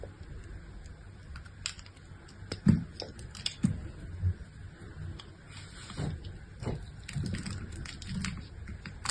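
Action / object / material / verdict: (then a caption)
scrape / bar of soap cut with a knife blade / soap / none. A solid pink bar of soap held in the hand is carved into slices with a utility-knife blade, and the chips pile up below. Soft, crisp scraping and slicing clicks repeat over a low, muffled bed, with a sharper cut standing out near the third second.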